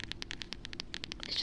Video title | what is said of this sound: asmr nice sounds and chatting [VOD] | I love the sound when I tap on the spine. It just sounds so crispy.